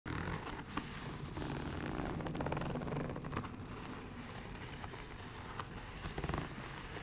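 A medium-sized soft makeup bag covered in iridescent snake-scale textured faux leather, a synthetic coated fabric, is held in one hand while long acrylic nails scratch and tap across its scaled surface. A steady, dense crackling scrape with a low rumbling body runs throughout. A few sharper taps stand out near the start and end.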